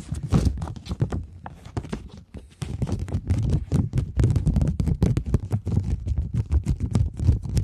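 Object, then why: Plastic polymer banknote. A thin plastic polymer £20 banknote is held in front of the microphones and tapped and scratched with the long nail tips of several fingers. The result is a rapid, dense stream of short, crackly clicks and scrapes over a dull, low thumping body, with brief quiet gaps.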